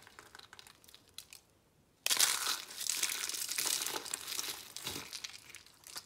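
Pink and white rose shapes made of thin, brittle, dry, hollow, layered soap curls, resting on glitter paper, are crushed and crumbled between fingertips into flakes. After about two seconds of faint, sparse crinkles, a sudden burst of dense, bright, crackling crunches begins. The crunching continues in uneven waves to the end.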